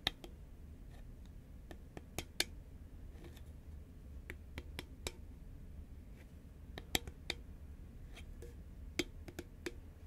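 Long nails tap on an upright, hollow green Pringles can made of composite cardboard, giving about fourteen sharp, bright clicks that stop almost instantly. The taps are spread irregularly over a steady low background hum.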